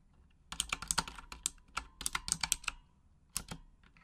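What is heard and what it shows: Long acrylic nails tap the plastic keycaps of a full-size pink Razer Huntsman mechanical gaming keyboard with RGB backlighting in a typing motion. Quick, bright clicky keystrokes come in bursts with brief pauses between them, each short and sharp with almost no ring.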